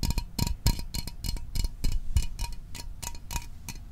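A small, hollow metal Fanta orange soda can is held in the hands and tapped quickly with fingertips and fingernails. The taps come in a fast, uneven rhythm, each a short dull thump with a bright clicky edge and almost no ring.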